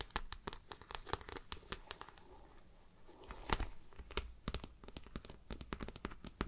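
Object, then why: Plastic-coated fabric handbag. Long nails tap and scratch the plastic-coated front panel of a shiny, glossy floral handbag with patent trim. A fast run of sharp, crisp clicks with bright edges is broken by a quieter, softer scratching stretch in the middle. Dense tapping then returns, with a crinkly, tearing texture over a low thump.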